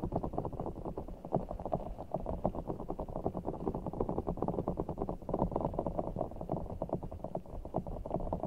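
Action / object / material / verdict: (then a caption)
scrape / large ball of water gel beads in a stretchy rubber skin / water gel / none. A large, full giant orbeez ball of blue water gel beads in a clear stretchy rubber skin is cupped over a microphone while fingertips and long nails squeeze, rub and scratch it. The result is a dense, continuous stream of soft, wet, squishy crackles and muffled low thumps, with energy mostly below about 1 kHz and almost nothing bright.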